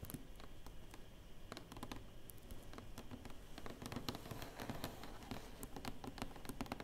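Long fingernails and fingertips rub and tap across the lid of a large, flat, closed, hollow black cardboard box. Quick, bright, dry clicks patter over a soft, low, papery rubbing, and each tap dies away almost at once.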